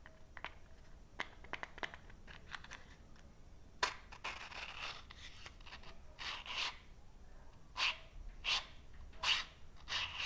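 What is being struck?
Cardboard matchbox.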